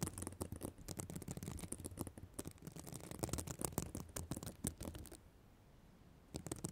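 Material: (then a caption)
Plastic sequins. Long black nails scratch across and flip the plastic sequins on the reversible sequin fabric cover of a spiral notebook. The result is a dense run of dry, crackly scratching and rapid small clicks that stops into a near-silent gap before the scratching briefly resumes at the end.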